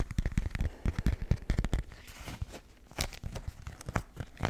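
A pink floral beeswax-coated cotton food wrap, a thin, stiff, waxed fabric sheet, is held in both hands next to the mic while fingertips crinkle, scrunch and rub it. The result is a dense run of short, dry crackles and crinkles with a low, papery body and quick bright snaps. It is busiest in the first two seconds, eases into a softer rustle, then picks up again toward the end.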